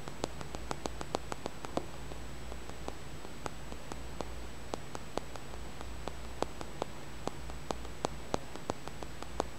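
A small, solid green tumbled stone held in the fingertips is tapped and scratched with the nails, giving around thirty-five sharp, dry clicks scattered across the clip. Each click dies away at once, with no ringing, over a steady low hum, a soft hiss and a faint high whine.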